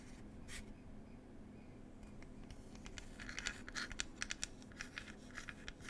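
Long pointed acrylic nails scratch and tap the flat printed lid of a small, likely hollow wooden "Cherry Tea" box. Soft, steady scratching over a low hum builds into a run of sharp, bright clicking taps in the second half.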